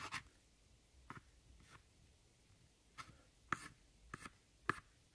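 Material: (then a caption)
Pressed powder. A thin metal tool scrapes and crushes a pile of crumbled brown pressed eyeshadow powder in an eyeshadow palette. Six short, quiet, dry scratchy crunches with bright high hiss come at uneven intervals over a faint background, each dying out instantly.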